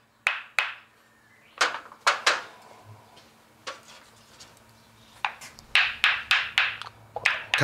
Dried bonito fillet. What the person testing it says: Celui-ci donne un son aigu et clair